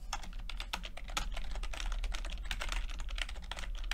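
Fingertips of both hands type continuously on a full-size plastic computer keyboard with red and blue backlit keys and low-profile keycaps. A rapid, dense stream of short, bright clicks and taps sits over a steady low hum, with each keystroke dying away almost at once.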